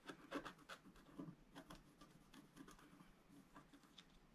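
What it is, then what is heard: Scratch-art paper being scratched. A wooden stylus scratches hatch strokes across a pink planet on a flat, black-coated scratch-art card while the other hand steadies the sheet. The result is a quiet, irregular series of short, dry rasping scrapes with a soft, papery texture.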